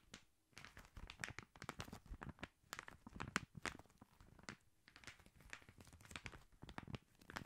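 Fingertips and nails scratch and tap the red Christmas wrapping paper on a long gift-wrapped cylinder, likely a hollow cardboard tube, held horizontally. Quiet, dense crinkly rustles mix with quick dry taps that stop almost instantly, with a papery crackle reaching into the highs.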